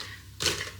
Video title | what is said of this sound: Ninja Speedi AIR FRYER Lasagne Chips (day 16 of 30 days of the Ninja Speedi) | just hear the crisp on those. Don't they sound fantastic?